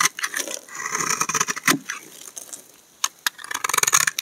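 A steel utility knife blade shaves and scrapes curls off a solid rectangular pink-and-white striped laundry soap bar held in one hand. Dry, crisp scraping strokes and sharp ticks are heard, mostly high and bright with almost no low end.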